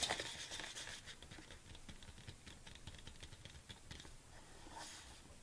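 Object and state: Plastic supplement tub.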